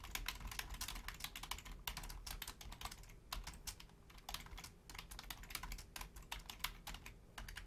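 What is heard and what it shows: Long painted nails and fingertips type quickly on the low-profile keys of a full-size black plastic Logitech keyboard. The result is a dense run of short, bright plastic clicks and taps with brief pauses, over a steady low background hum.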